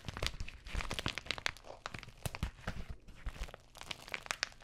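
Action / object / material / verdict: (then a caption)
scrape / plastic bubble mailer envelope / plastic / none. Long nails scratch across the textured plastic surface of an empty white padded bubble mailer envelope. The sound is a quiet, dense run of crisp scratches and crinkly crunches with bright hiss and a low rumble underneath. The many short, overlapping strokes blend into a continuous rustling texture.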